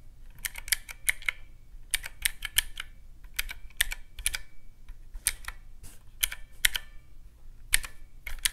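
Fingertips press the round black keycaps of a teal plastic mechanical-key calculator resting on a white cloth. Sharp, bright clicks come in fast runs separated by short pauses, each click dying away almost instantly with a ringing tone near 2.1 kHz. A faint low hum sits underneath throughout.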